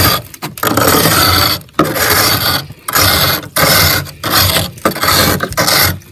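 A metal spoon scrapes repeatedly across the ridged, solid ice of frost buildup on a freezer ceiling. Each stroke gives a loud, broadband, gritty rasp with crisp high-frequency crunch, separated by brief pauses.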